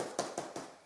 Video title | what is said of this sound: Ultimate Direction vs Salomon Running Waist Pack | the back bit, is like solid. You can sort of hear it there if I flick it, which means it doesn't squash very well.